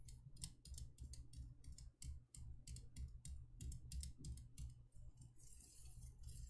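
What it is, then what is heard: Thin embossed metal candle holder. Long painted nails tap and scratch around the patterned surface of a small, empty, hollow cylindrical candle holder made of thin embossed copper-toned metal, which is held in the hand. Quick, irregular, bright clicks with very short decay sound over a steady low hum. Near the end, a denser, hissy scratching takes over.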